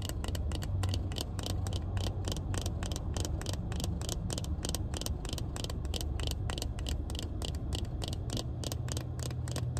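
Long painted nails rapidly tap and scratch a pair of hand-held sunglasses with a black plastic frame and tinted lenses, inside a car. Quick, sharp clicks repeat over a steady low rumble throughout.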